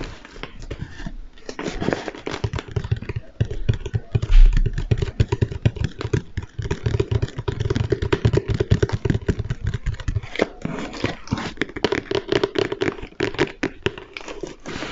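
A large, flat, hollow cardboard box for a Lego Stormtrooper helmet is held upright close to the mic and tapped with the fingertips. It gives a rapid, continuous patter of dull, boomy low thuds with short hollow resonance and very little high-end content.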